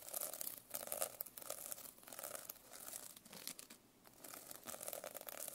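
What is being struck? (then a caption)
Plastic sequin notebook cover scraped and tapped with a metal pen. A metal pen scratches and taps across the plastic sequin cover of a notebook. Quiet, bright, crinkly rasping comes in bursts with a papery mid-range tone and almost no low end. It pauses briefly around the 2 and 4 second marks before resuming.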